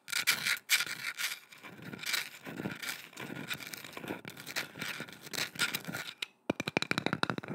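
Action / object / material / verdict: scrape / carved wooden boomerang-shaped piece / wood / none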